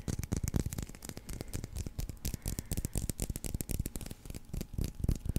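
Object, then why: Leather baseball. A solid white leather baseball with red stitching, held in one hand, is scratched and tapped with fingernails. Quick, irregular, dull taps mix with dry, scratchy rubbing, each sound stopping almost at once with no ring.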